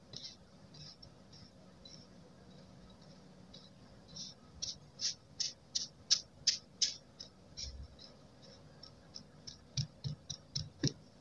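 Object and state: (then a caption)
Kinetic sand being stamped. A metal-handled stamp with a black rubber tip is pressed and tapped repeatedly into a flat, solid spread of blue kinetic sand with a waffle-textured surface, compressing it. Faint, soft crunching gives way to a series of short, bright, crisp taps that come in quick bursts, with a brief quieter stretch before a final run of sharper taps.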